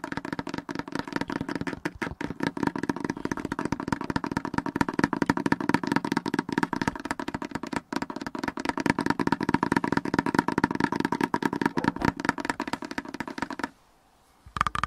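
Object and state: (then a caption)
Plastic mobility scooter control panel. Fingertips and nails rapidly tap and scratch the red and black plastic dashboard and buttons of a mobility scooter, sounding hollow through its plastic housing. A dense, steady stream of short, dry clicks and scrapes carries a resonant tone around 1.2 kHz. Near the end it falls briefly silent, then the tapping resumes.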